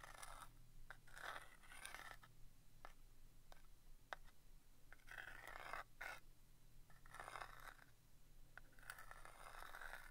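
The tip of a wooden stick scratches and taps across the front face of a small vintage printed cardboard box of Rodi brass-plated thumbtacks, hollow and presumably full of tacks, held in one hand. Quiet bursts of dry scraping alternate with short, sharp ticking taps that die away almost instantly. A steady low hum sits underneath throughout.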